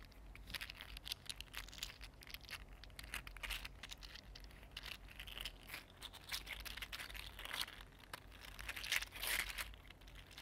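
A mini green 3D printed plastic articulated slug is curled and flexed between the fingers. Its hollow plastic segments rub and click in a dense, bright stream of quick crinkly ticks over a faint low hum, swelling slightly louder toward the end.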